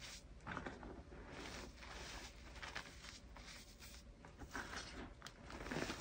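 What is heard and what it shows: Bare hands press, squeeze and rub into a soft, dry mound of crushed pink gym chalk (magnesium carbonate) powder and small crumbs on a gold plate. The fingertips and palms make quiet, continuous crunching and crackling rustles with brief grainy bursts. The sound is dry and bright, over a low background hum.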